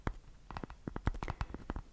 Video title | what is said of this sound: Roleplay ASMR: RILASSATI con FORBICI, TAPPING e BRUSHING! 🤤 | è un tapping abbastanza particolare perché ha qualche richiamo stranamente metallico come nota di fondo